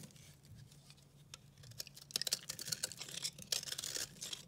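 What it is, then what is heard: Dry soap bar shaved with a blade. A metal utility-knife blade with a red handle scrapes and shaves a hand-held oval bar of dry, solid, white-and-purple recycled soap. Flakes fall onto a pile of shavings. The result is a quiet, crisp, bright scratching that starts soft and grows into denser, louder rasping strokes.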